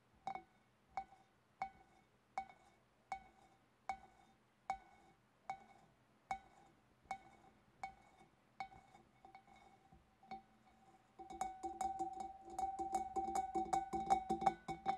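Long dark-painted nails tap the outer bulb and sides of a large, empty, hollow clear glass fish bowl with a wavy rim, using both hands. About fourteen evenly spaced taps each give a short glassy clink ringing around 770 Hz with bright overtones. After about eleven seconds the tapping turns rapid and continuous, building into a denser, louder shimmering clatter.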